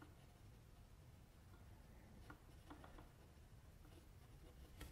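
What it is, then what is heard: Pencil scratching on drawing paper. A metal mechanical pencil tip scratches small strokes around the mouth of a sketched face on a flat white sheet of drawing paper resting on a table. Faint, brief scratchy ticks rise over a quiet, steady low rumble, with almost no ring after each stroke.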